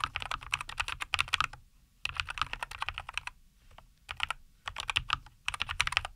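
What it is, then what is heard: Mechanical keyboard with plastic keycaps. A NuPhy Air75 V2 compact 75% mechanical keyboard with a white case, green and white plastic keycaps and linear Cowberry switches sits on a wooden desk and is typed on continuously with the fingertips of both hands. Rapid, bright, sharp clacks come in four bursts separated by brief pauses, each keystroke dying away almost instantly.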